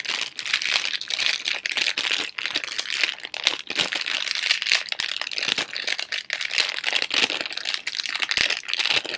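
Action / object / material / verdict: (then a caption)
scrape / thin plastic film candy bag / plastic film / none. A hand-sized, hollow blue Halls cough drop bag made of thin printed plastic film is held in both hands with long pink nails and crinkled and squeezed between the fingers. It makes a dense, continuous, bright crinkling and crackling with no low end, rising and falling in loudness throughout.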